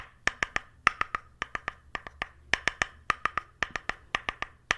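An orange-brown flat, solid wooden paddle, held upright, has its face tapped with a small white stick or brush handle in 25 quick knocking taps, mostly in clusters of three. Each tap is a dry, hollow-sounding wooden click centered around 1.3 kHz with a bright edge and almost no ring, over a faint low hum.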